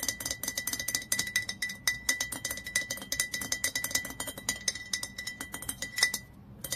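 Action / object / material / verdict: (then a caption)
tap / glass olive oil bottle / glass / none. A nail tip taps rapidly on the glass neck of a dark glass olive oil bottle, near the cap. It makes a fast run of short, bright clinks with a steady ringing tone near 2 kHz. Each tap dies away almost at once, and the taps soften at the very end.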